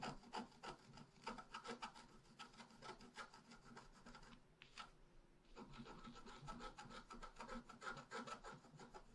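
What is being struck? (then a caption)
Black-coated scratch art paper scratched with a wooden stylus. A wooden stylus scratches leaves into the lower right of a flat, black-coated scratch art paper sheet. Quick, repeated raspy strokes with a bright, papery edge continue steadily, pausing briefly near the middle before resuming.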